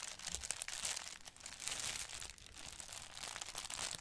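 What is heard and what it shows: A thin printed paper bag with a Daily Prophet design, held in both hands, is rubbed and crinkled by the fingertips across its surface. The sound is a dense, steady stream of bright, crisp crinkles and rustles with very little low end and almost no ring between the small sharp crackles.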